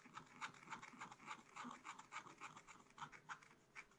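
A wooden stylus scratches repeated strokes into the black coating of a scratch-art card in a spiral book. The result is a quiet, rapid, slightly uneven series of dry, raspy scrapes, each a short burst with bright hiss and little low end.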